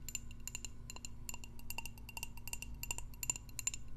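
A candle in a jar is tapped repeatedly in quick, light strokes, each giving a short bright clink with a high ringing overtone that dies away almost at once. The taps come in an uneven, busy rhythm over a steady low background hum.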